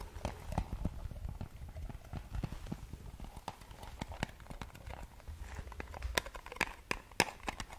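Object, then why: Small round metal cream tin tapped and scratched with fingernails. A small round blue metal Nivea cream tin with a colorful lid, held in both hands, is tapped and scratched with long nails. A steady string of quick, dry taps and bright clicks rises over a low, rough scratching rumble. Each tap cuts off almost instantly, with a faint metallic tone near 950 Hz.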